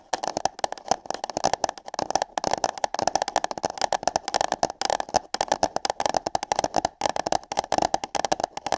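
Long nails tap and scratch on hollow paper cups placed over the ears of a microphone. Rapid, dry, clicky taps and scratchy rubs come in uneven bursts, each with a hollow papery tone in the mid range and almost no ring after it.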